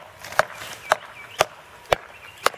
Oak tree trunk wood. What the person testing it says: when you get to those sounds like that you can do this with a reasonable expectation that you're going to get some rotted fluffy